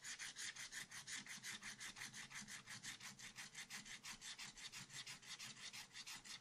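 A thin wooden stylus scratches lines into black wax-coated scratch art card, a sheet in a spiral-bound pad lying flat and solid on a table. About 32 quick, evenly paced scratching strokes are heard, each a bright, raspy hiss with almost no low end and no ring after it stops.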